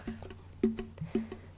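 A wooden ukulele body, a second ukulele, is tapped several times. Each tap gives a short, hollow, wood-block-like knock with a brief low resonance around 220 Hz that dies away quickly.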